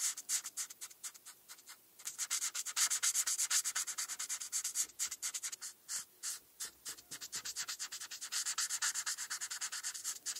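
A felt-tip marker is rubbed quickly back and forth across a flat paper coloring page while coloring in a star. It makes a steady run of short, dry, scratchy strokes with a bright, airy hiss and almost no low end. The rhythm is slightly uneven, with brief pauses around the two-second and five-to-six-second marks.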